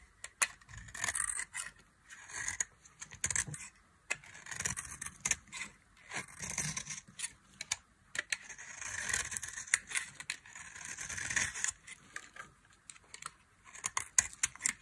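A metal knife carves and scrapes flakes from the end of a solid bar of dry, cream-colored soap held in the hand. Repeated bursts of dry, bright, crackly scraping come in short strokes separated by brief pauses, with quick crisp clicks and little low end.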